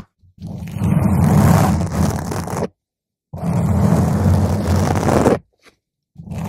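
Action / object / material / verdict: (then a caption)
scrape / foam microphone windscreen / foam / none. Long pointed green acrylic nails scratch a purple spherical foam windscreen on a microphone, first with the hands cupping its sides and then with the nails raking across the top. Two long, dense bursts of rough, crackling scraping are heard, heavy in low rumble with hiss reaching up high, separated by brief silences before a third burst begins at the end.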